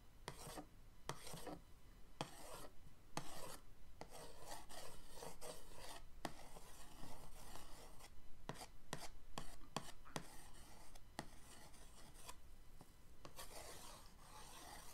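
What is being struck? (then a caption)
Cardboard paint-set box rubbed with a paintbrush end. The end of an orange paintbrush traces over the printed lid of a cardboard paint-set box, which is rotated on a dark table. It makes dry, raspy scratching and rubbing strokes in short bursts with brief pauses between them. A low, steady hum sits underneath.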